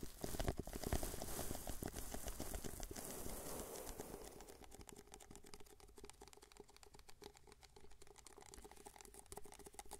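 Fingertips tap the sides of a small, hollow, empty white paper cup held in both hands, then the cup is tilted and its base is tapped. The result is a dense, uneven patter of soft, hollow papery taps with a low body and a brief ring. The first few seconds are louder and hissier, then the tapping continues more quietly.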